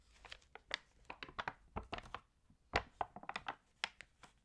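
Long green-and-checkered nails and fingertips rub, crinkle and turn the wavy, water-damaged pages of an open glossy paper fashion magazine lying flat on a green table. Quick, dry, bright crinkles and rustling crackles come in short, close-spaced bursts with brief quiet gaps between them and almost no ring.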